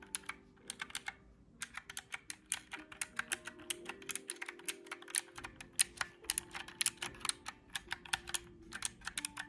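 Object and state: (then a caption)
Plastic calculator keys being pressed. Fingertips press the round black typewriter-style keys of a small, hollow mint-green plastic calculator in a fast, steady stream. Each press is a short, bright plastic click with almost no ring, dozens of them in quick succession.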